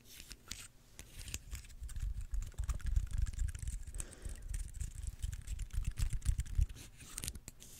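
A small, dry, brown pine cone with solid woody scales is held in one hand close to the mic while fingertips and nails scratch and flick its scales. The result is a rapid, uneven stream of crisp scratches and tiny clicks over a soft, low thumping rumble that swells and fades throughout.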